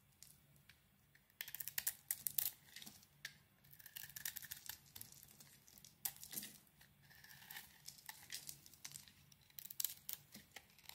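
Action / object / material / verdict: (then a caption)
scrape / bar of soap scraped with a blade / soap / none. A utility knife blade scrapes and carves shavings from a handheld solid oval bar of soap with a grey-green outer layer over a blue swirl interior. After a quiet opening, dry, bright scraping and crackling strokes come in quick, uneven bursts with a low hum underneath. Each stroke ends sharply with almost no ring.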